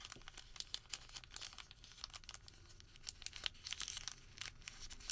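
Fingertips twist, pinch and crinkle a Home Depot thermal paper receipt that has been twisted into a rope. The result is a quiet run of bright, dry crinkles and sharp crackling snaps, with almost no low end and no ring after each crackle.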